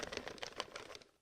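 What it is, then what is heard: Box of paper slips shaken. A box holding folded paper slips with husband-and-wife tag questions is shaken, producing a quick series of bright, dry rustling and pattering clicks. The papery bursts come in rapid succession for about a second, then fade out.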